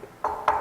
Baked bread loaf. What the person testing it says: we'll know it's done when we go to knock on it kind of like that and it sounds Hollow